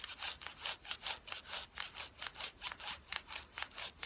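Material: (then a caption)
Denim. Long fingernails scratch fast across the thigh fabric of worn blue denim jeans, making thirteen quick, bright, rasping strokes in a steady back-and-forth rhythm. Each stroke is a dry, high hiss with almost no low end, and it stops short with no ring between strokes.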